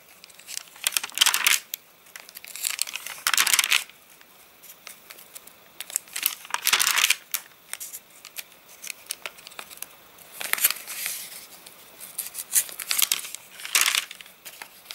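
Hands turn and flex the stiff, rain-dried pages of an open paper catalogue. Repeated bursts of bright, crisp crinkling and crackling, almost entirely high-pitched with no low end, are separated by short quiet gaps. The dry, rustling snaps stop quickly with no ring.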